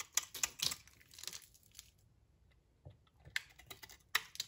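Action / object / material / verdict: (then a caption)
scrape / soap bar cut with a knife blade / soap / none. A utility knife blade shaves crumbly layers off a solid, dry brownish soap bar held in the hand. It makes a series of short, bright, dry scraping crackles with a quiet gap in the middle. Each crackle stops almost instantly.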